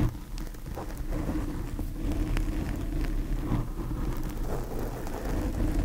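Long painted fingernails scratch and rake across a large black foam windscreen covering a microphone. The result is a steady, dense, low rumbling scrape with crackly bursts, heavy in the low end and with almost no bright content.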